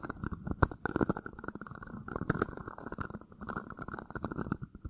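An empty, hollow, thin-walled red plastic party cup is held in one hand and tilted against a mic grille while fingertips and nails scratch and tap its outer wall. The result is a dense, continuous stream of quick, dry scratches and soft taps with a hollow, muffled, low-heavy tone and little high sparkle. A few sharper taps stand out above the steady rustle.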